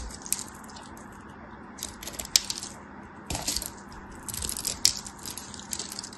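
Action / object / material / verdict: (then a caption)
scrape / bar of soap / soap / none. A craft knife cuts into the scored surface of a solid green soap bar held in the hand, and small cubes break off as it is cut and crushed. Bright, dry crackles and sharp snaps come in uneven bursts over a faint steady hiss, each dying away almost instantly.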